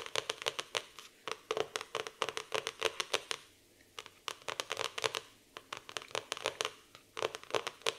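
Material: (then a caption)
Cardboard. Long painted nails tap and scratch quickly across the glossy printed cardboard cover of a medium-sized black hardcover notebook with a floral print and "Live for today" on it, a solid stack of paper lying flat on a wooden table. Rapid bursts of sharp, bright clicking taps with a papery mid-range body and no low end come in quick clusters separated by brief pauses. Each tap dies almost instantly, leaving faint scratchy rustling between them.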